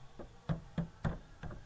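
Knocks on the rear-mounted spare tire cover of a repossessed Ford EcoSport give four dull, low, hollow thuds that die out almost at once. The hollow sound suggests the carrier is empty, with no spare tire inside, likely because the spare was used to replace a flat.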